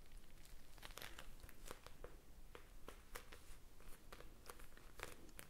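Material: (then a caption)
Plastic. A small clear plastic eye mask filled with blue gel beads is squeezed and tapped with long painted fingernails close to the mic. The result is a quiet, irregular stream of sharp crinkling clicks and soft squishy crackles over a low background hum.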